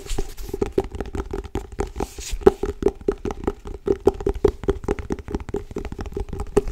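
Long acrylic nails and fingertips tap and grip the cover of a solid, medium grey-blue cloth-covered hardcover book held in the hands. A rapid, uneven stream of short, dull taps with a soft woody tone around 400 Hz and very little brightness, each dying away almost instantly.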